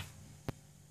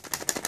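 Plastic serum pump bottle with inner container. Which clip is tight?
The first.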